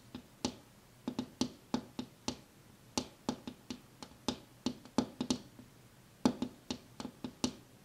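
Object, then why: Glass window pane. A glass window pane is tapped with one hand in a quick, irregular series of about two dozen light, sharp taps. Each tap gives a short, dry click with a faint low knock near 250 Hz and decays almost at once.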